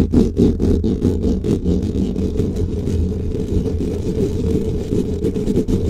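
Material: Foam.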